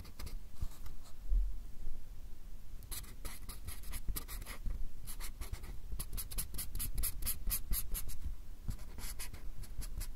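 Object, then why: Fine-tip pen on paper card pad. A fine-tip drawing pen makes continuous short scratching strokes across a small, solid white paper or card pad held by the fingertips. The strokes come as a steady run of dry, bright scratches, thickening into rapid bursts toward the end, over a faint low rumble.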